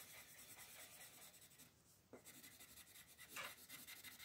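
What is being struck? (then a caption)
Colored pencil on a paper coloring page. A colored pencil is rubbed in fast, dense shading strokes across a flat paper page of a Mortal Instruments coloring book, held by a hand with long nails while a still pencil rests on it. The quiet, bright, papery scratching is rhythmic with almost no low end, dips briefly near the middle, then resumes with a few sharper strokes.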